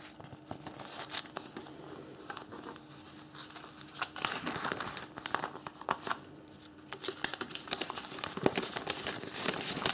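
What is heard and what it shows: A thin, folded printed paper instruction leaflet is held in both hands and rubbed and folded with the fingertips. Soft, bright crinkling and crackling comes in irregular bursts with no ring, over a faint steady low hum.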